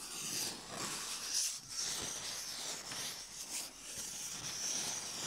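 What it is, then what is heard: Cardboard tubes, hollow and empty. Two small, hollow, empty cardboard tubes the size of toilet rolls are held in both hands while fingertips scratch and rub them and the tubes rub against each other. The result is a steady, soft, bright scratching and hissing texture with little low end and no separate hits.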